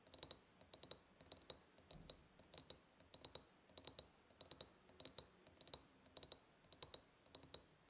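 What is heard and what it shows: Long painted nails tap quickly on the sides of a large, empty, hollow ribbed glass jar. The result is a quiet stream of crisp, bright clicks in irregular bursts, with a high glassy ping on each tap that dies away almost instantly.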